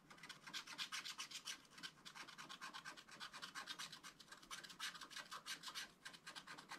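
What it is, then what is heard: Scratch art card being scratched. A wooden stylus scratches short green grass strokes along the bottom of a flat, black-coated scratch art card. The result is a quiet, rapid run of dry, bright, rasping scratches, one stroke after another with almost no low end.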